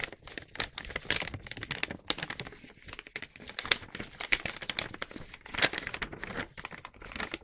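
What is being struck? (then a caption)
Paper gift bag. An empty paper gift bag with a star print, lying flat, is rubbed with the palm and then lifted and unfolded by fingers. The result is a dense run of bright, crisp crinkling and rustling with many short, sharp crackles and almost no low end.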